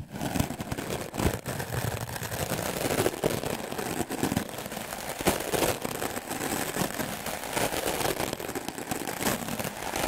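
A solid white melamine foam magic eraser is brushed aggressively with a wooden clothes brush. Fast, continuous scratchy bristle strokes give a dense, rough, broadband rasp with bright hiss. Small louder swipes stand out over about ten seconds.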